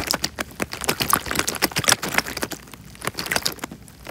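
A small clear plastic bag filled with water is crinkled and squeezed by the fingers close to the microphone. Dense, irregular bright crackles and crisp snaps mix with soft watery squelches, fading slightly toward the end.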